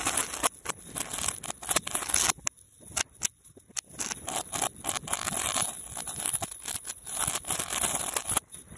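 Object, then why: Metal link chain. A long, twisted silver metal link chain is held by hand and shaken and swung in loops up close, producing rapid, bright jingling and clinking with sharp, short-lived rattles. The sound is dense and high-pitched with almost no low end, thinning briefly into sparser clinks near the middle before building back into busy rattling.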